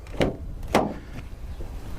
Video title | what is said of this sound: Family Vacation Car Mystery Revealed! Figure this one out @tavarish @AutoAuctionRebuilds | This one's a little more solid. A little more solid.